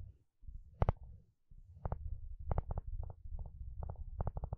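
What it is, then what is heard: Plastic wide-tooth comb strummed. A wooden spatula strums and scratches across the long, wide teeth of a blue plastic wide-tooth comb. Quick, dry clicking bursts, often in close pairs, crackle over a constant low, rumbling scrape, starting sparse and then coming in faster, irregular runs.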